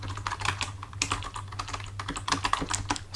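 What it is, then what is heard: Plastic computer keyboard. Fingertips of both hands, resting on a full-size black plastic computer keyboard on a desk, tap the keys in a quick typing run. The clicks are short, bright and plastic, with a steady low hum underneath.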